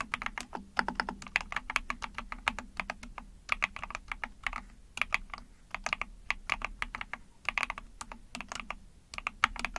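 Rapid key presses with long painted nails and fingertips on a small 44-key Epomaker TH40 mechanical keyboard, with an ABS plastic case, PC plate, backlit pink and white keycaps. The typing produces a dense stream of short, bright plastic clicks and clacks that stop instantly with no ring, over a faint low hum.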